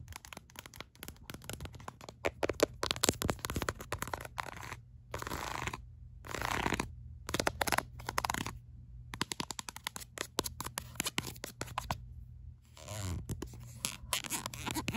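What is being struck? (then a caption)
Ribbed silicone phone case. A ribbed black silicone phone case, held upright, is tapped and scratched quickly with long acrylic nails. Dense runs of sharp, dry clicks mix with raspy scratching strokes over a low steady hum, with brief silent gaps between bursts.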